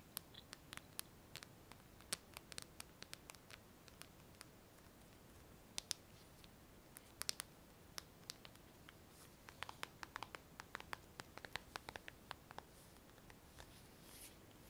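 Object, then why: Smartphone in a clear plastic case. A hand-sized smartphone with a glass screen, in a purple-tinted clear plastic case, is held close and tapped with long fingernails. Dozens of quiet, sharp, bright clicks come in irregular bursts over a low background hiss. Each tap dies away almost instantly.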